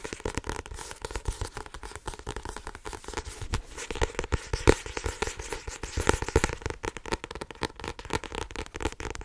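A medium paperback novel with a blue card cover and a solid paper block is held in both hands while long painted nails tap and scratch fast across the cover and spine. The result is a dense, rapid stream of short, dry taps and scratchy crackles that overlap too closely to count, with occasional louder raps.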